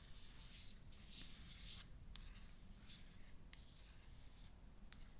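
Fingertips and long nails rub and scratch across a small, rigid cardboard iPhone 14 Pro 256 box, still full and in its plastic shrink wrap, lying flat. The sound is a quiet, steady, bright, papery hiss of swishing strokes over a low rumble, with a few brief, sharp ticks.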